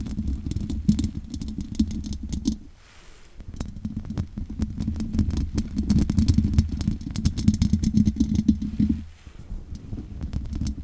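Long nails scratch over the top and sides of the hollow metal mesh grille on a large condenser microphone. The result is a dense, continuous rasping with a strong low, boomy body around 200 Hz and bright, crackly ticks on top. The scratching pauses briefly near 3 seconds and again near 9 seconds.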